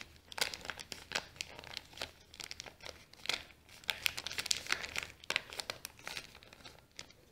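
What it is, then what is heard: Kraft paper bag being crumpled. Fingers fold and crumple a small, folded brown kraft paper bag while fingernails scratch across it. The result is a steady run of bright, dry crinkles and sharp crackles, with quick bursts that die away instantly over a faint low hum.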